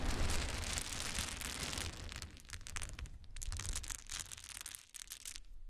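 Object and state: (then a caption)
Pile of small wooden cubes. A pile of small solid wooden cube chips is gathered and stirred with the fingers of both hands. It produces a dense, continuous clatter of tumbling wood with a low rumble for the first two seconds, then breaks into sparser, irregular bursts of bright clicking and rattling as the cubes shift and settle.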